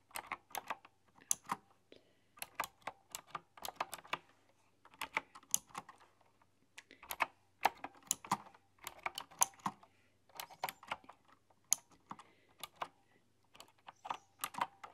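A full-size, typewriter-style computer keyboard with hollow, round, chrome-rimmed keycaps is typed on with the fingertips and long, dark-polished nails. Quick bursts of bright, hollow clicks come in irregular runs separated by short pauses. Each tap is dry and dies away almost at once.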